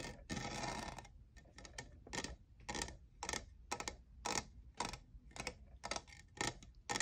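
Fingernails tap the faceted side of a tall, hollow, lavender plastic jeweled tumbler that appears empty. Short, bright, clicky taps come in irregular clusters and die away almost at once, after a longer rasping scratch near the start.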